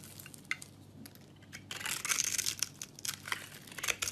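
A metal knife blade shaves and scrapes a hand-held, solid, rectangular brown soap bar with a textured surface, curling off thin chips. A few soft, dry clicks and scratches give way after about 1.7 seconds to louder, denser, bright crackling scrapes that rise and fall in quick irregular strokes, each dying away instantly.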